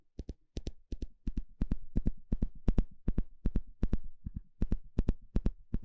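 A small blue plastic fine-tooth comb is held in the hand while a thin plastic stick scratches and flicks across its teeth. The result is a rapid series of about 32 short, dry ticks, mostly in quick pairs. Each has a dull low thump and a faint bright crackle, and each dies away almost instantly.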